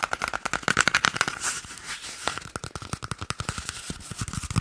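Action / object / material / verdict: tap / cardboard toilet paper tube / cardboard / none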